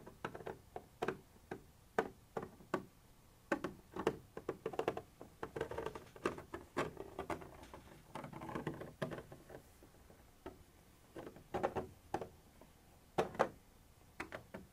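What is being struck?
Textured plastic surface tapped with a thin metal tip.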